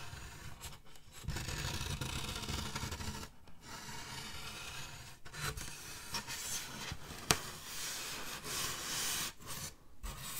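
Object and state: Styrofoam slab scratched.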